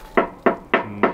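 Four knocks on the steel front bumper of a 2021 Iveco Daily 4x4 Bimobil EX412 camper, which is mounted directly on the frame. Each knock is a short, dull metallic thud with a brief ring, confirming it is a steel bumper, not a plastic one.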